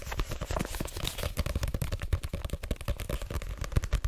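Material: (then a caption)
Paper. Long nails and fingertips tap quickly on the card front cover of a paperback book, a solid block of paper held up in the air. The result is a rapid, uneven stream of short, dull thuds, mostly low and muffled, with faint clicky edges from the nails and almost no ring after each tap.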